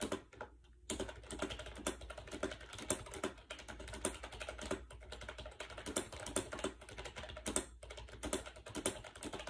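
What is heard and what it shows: Fast fingertip typing on a compact gray plastic AJAZZ 308i wireless Bluetooth keyboard with round white keycaps, resting on a bed. The hollow plastic keys give a dense, continuous stream of short, dry clicks with a light mid tone around 375 Hz and bright tips, with a brief pause near the start.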